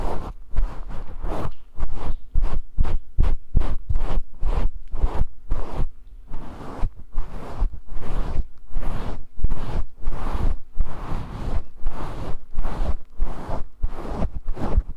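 A grey synthetic-fur microphone windscreen, held in one hand, is scratched and brushed with the fingertips. This produces a rapid series of rough, rustling scratches and swishes with a heavy low rumble beneath them, each stroke fading quickly.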